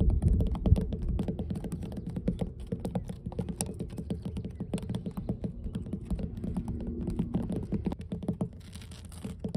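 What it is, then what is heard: Weathered wooden dock boards. Long blue nails on both hands tap rapidly across solid, weathered wooden dock planks. The taps land in a quick, uneven patter of short, dull, low knocks with almost no ring, and the tapping runs steadily throughout before easing slightly softer near the end.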